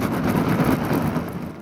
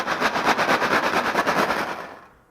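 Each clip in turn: First: balloon filled with beans. Second: rice-filled balloon rattle.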